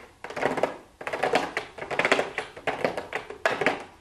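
Very long blue acrylic nails tap and lightly scratch a small, hollow pink cardboard makeup gift box with a clear plastic window lid, lying on a wooden desk. The sound comes in quick clusters of crisp, hollow clicks and light scratches with short pauses between them. The taps are bright and papery with almost no low end, and each one dies away quickly.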